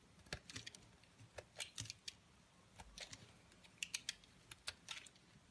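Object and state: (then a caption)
Bar of soap being cut. A palm-sized, solid cream-coloured bar of soap, held in white-gloved hands, is shaved into curls and flakes with a snap-off utility blade. Each cut makes a short, crisp, bright scraping click with almost no ring, and the cuts come in an uneven series at a quiet level.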